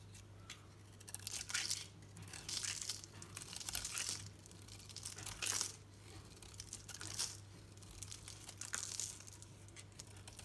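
A solid green soap bar painted yellow is held in the hand and shaved with a utility knife blade. It gives repeated bright, scratchy scraping and crinkling strokes in uneven bursts over a steady low hum.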